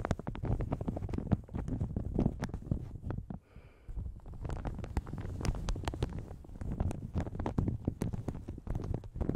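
Long red nails scratch and tap a light blue plastic shower cap stretched over a large hollow microphone. The result is a dense stream of soft, low, thumpy crinkles and quick taps, with a brief quieter pause near the middle.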